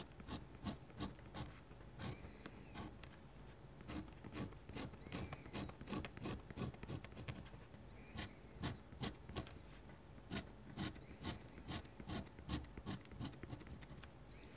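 A metal dip-pen nib scratches quick short strokes and dots across a large flat white paper sheet while drawing foliage. The faint, dry scratches come in an irregular rapid series, each a brief bright rasp over a low, quiet rumble.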